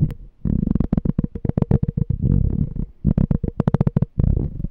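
A small, clear, empty glass jar with a pink label is held sideways while short fingernails and fingertips tap and scratch its glass body. Rapid runs of dull, low taps come in bursts, with brief scraping stretches in between. Each tap dies away almost instantly, and a faint steady tone sits under the clicks.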